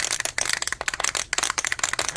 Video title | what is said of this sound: AMT ERTL Plymouth 71 Duster (Buddy Build with Chuck) - Part 2 | I put it down a table you can hear the ball still rolling around